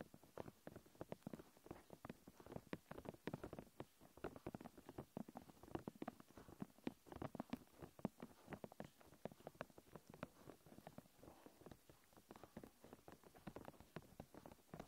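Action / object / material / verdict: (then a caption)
tap / thin clear plastic film stretched over a hard object / plastic / none. Long nails rapidly tap and scratch thin, clear plastic protective film stretched tightly over a recorder. The result is a steady, quiet stream of short, dry, crackly taps and scrapes that stop instantly. They have a soft low-mid body and very little bright content.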